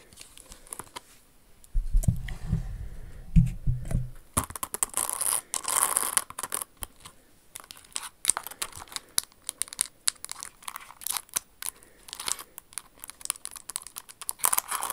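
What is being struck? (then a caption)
Rhinestone-covered shoe. Long acrylic nails tap and scratch the crystal-covered surface and crystal flower of a silver rhinestone Jimmy Choo Cinderella stiletto pump. Quick, irregular, bright clicks and gritty scratches come throughout, with a brief low, heavy rumble early on.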